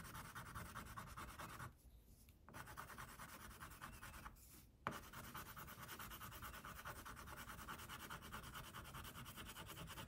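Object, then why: Wax crayon on a paper sheet. An orange wax crayon held in the fingers is rubbed in short, quick strokes over a tiger's body on a flat white paper coloring sheet. It makes a steady, dry, scratchy rasp with a mid-pitched bright edge, broken by two brief pauses before the strokes resume.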